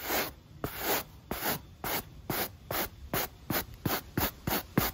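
A stiff pale-bristle brush, held in the fingers, scrubs back and forth across a black textured rubber sneaker outsole. About eleven broadband bristly rubbing strokes are heard, and they get shorter and quicker toward the end. Each stroke has a bright scratchy hiss and a short low thump at its start, with quiet gaps between strokes.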